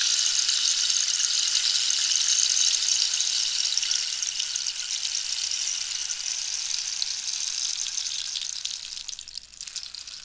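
A hollow dried-cactus rainstick is held at an angle while long nails tap and scratch its ribbed wood, and the pellets inside rattle down. The result is a steady, bright, hissing patter like falling rain, almost all high-frequency with no low end. It holds level for about eight seconds, then thins and fades toward the end.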